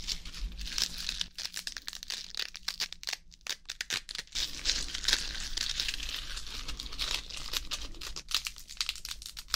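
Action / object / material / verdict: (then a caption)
scrape / iceberg lettuce leaves / lettuce / none. Fresh iceberg lettuce leaves are pulled off the head, then crumpled and torn with the fingers close to the mic. The result is a dense, continuous run of crisp, watery crinkling and tearing, with brief pauses and a faint steady low hum underneath.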